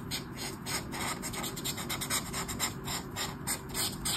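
A marker tip scratches and rubs across a flat sheet of white paper in a colouring book with an orange mandala while colouring. The strokes come as rapid, uneven, bright scratchy rasps over a steady low background hum, at a quiet and fairly constant level.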